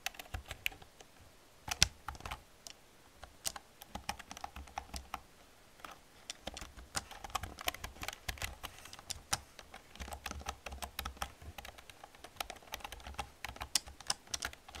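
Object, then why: Plastic computer keyboard. An old black plastic computer keyboard with hollow plastic keys is typed on with long painted nails and fingertips. Quick, bright, dry clicks and taps tumble in an irregular stream with brief pauses, over a faint low hum.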